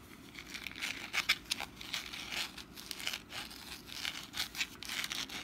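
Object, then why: Papier-mache pumpkin decoration. Long nails scratch the rough surface of a medium, orange-brown textured papier-mâché pumpkin decoration with wire curl tendrils, held in the hand and apparently hollow. A continuous dry, papery scratching and crinkling is heard, bright with almost no low end, with sharper rasping strokes standing out.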